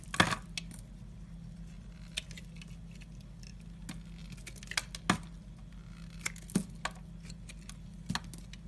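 A utility knife blade scrapes thin flakes off the flat surface of a solid black bar of soap. Brief, sharp, bright scraping clicks come at irregular intervals over a steady low hum.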